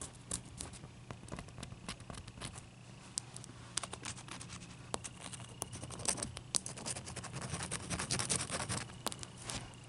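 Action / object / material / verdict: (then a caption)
scrape / ice cube / ice / none. Long dark-painted nails tap and scratch a clear solid ice cube resting on a towel. Quick, irregular clicks and bright scratching sounds come over a steady low hum, growing slightly louder toward the end.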